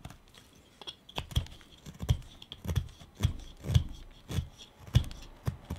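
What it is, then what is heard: Wooden pipe blank being carved. A carving knife cuts and scrapes the shoulder of a small, solid wooden pipe bowl blank held in the hand. Short, dry scraping cuts come in an irregular series, each with a dull low thump and a faint bright edge, and die away almost at once.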